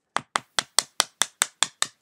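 A die is tapped against something before being rolled to pick a number, giving nine sharp, evenly spaced clicks about a fifth of a second apart. Each click is bright with almost no low end and dies away quickly.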